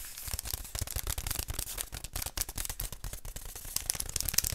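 Fingertips and nails rub and scratch along a long, hollow beige cardboard tube held in both hands. The result is a continuous, dry, bright rasping with a hollow low thump beneath it, made of rapid, closely spaced strokes with no ringing.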